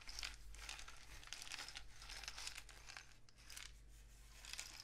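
A long, hollow rain stick, apparently a cardboard tube painted with suns and dots, with one end wrapped in mesh and loose filling inside, is held in both hands and tilted and shaken so the filling cascades through it. It makes a continuous, bright, crinkly patter of tiny rattles that swells in several waves over a steady low hum.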